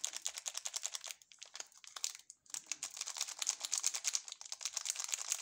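A sealed, full ALBO candy bar in orange plastic film is held in both gloved hands, which flex and rub the wrapper and turn it over. It gives off dense, bright crinkling in quick rapid bursts, with a brief quieter pause in the middle before the crinkling resumes.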